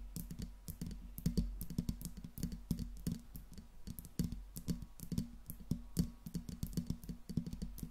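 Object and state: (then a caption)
Metal microphone tapped with nails. Long pink nails rapidly tap the smooth metal body and grille of a silver Blue Yeti microphone. The result is a dense, uneven run of short, dry clicks with a low, thumpy body and almost no ring.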